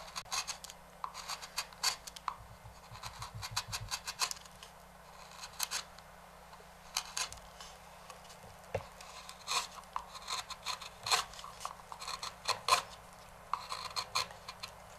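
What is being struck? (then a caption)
Walnut wooden bowl. A small knife blade scrapes and scratches the rim of a large, hollow, empty dark walnut bowl held by hand on a stationary lathe. Irregular bursts of dry, bright scratching and rasping come in quick clusters with short pauses between them. Each stroke stops almost at once, leaving very little low-end body.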